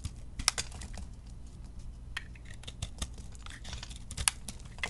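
A metal blade scrapes thin curled shavings off a round, solid bar of chunk soap held in the hand. Short, dry, bright scraping and crackling strokes come in irregular bursts over a quiet, steady low hum.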